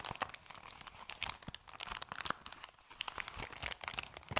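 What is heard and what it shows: Hands hold and scrunch the edges of an opened, crumpled, thin, empty white paper bag. The result is a steady run of quiet, dry crinkles and crackles, bright and high with very little low end. Each crackle is short and sharp, with no ring after it.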